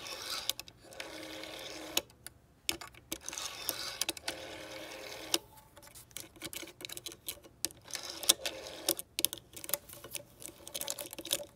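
Fingertips and long nails quickly tap and scratch across the finger holes of the clear plastic dial wheel of a green vintage rotary phone with a brass rim. The result is a quiet, bright stream of sharp clicky taps broken up by dry, scratchy bursts and short pauses, with almost no low end.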